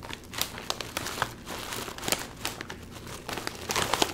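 A full Doritos chip bag of metallized plastic film is turned over in the hands and crinkled and squeezed by the fingertips. It makes a dense, bright crinkling with many short, sharp crackles over a soft rustle.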